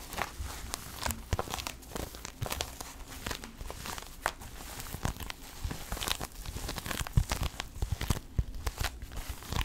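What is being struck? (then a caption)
Leather shoulder bag. A medium black leather shoulder bag with stitched panels, hollow inside, is scratched, rubbed and gripped with long nails and fingertips. The result is a dense run of crinkly scraping and short dry taps over soft low thumps from the hollow bag, with bright scratchy edges on each stroke.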